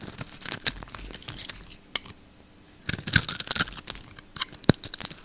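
A solid oval bar of soap with a blue coating and yellow inside, held in one hand, is shaved into thin curls with a utility knife blade. Dry, crisp scraping and crackling cuts come in bright bursts, with a quiet pause in the middle before another dense run of crunchy slices and a few sharper snaps near the end.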